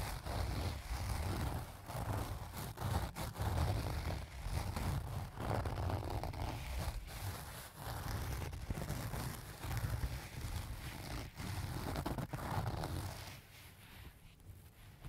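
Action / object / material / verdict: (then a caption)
scrape / cloth zipper pouch / fabric / none. A medium pink-and-white leaf-print cloth cosmetic pouch, zipped closed, filled with pens and lying on a table, is scratched across its front by both hands using fingertips and short nails. The scratching comes in steady, rhythmic rustling bursts with a heavy low rumble and soft scraping texture, fading quieter near the end.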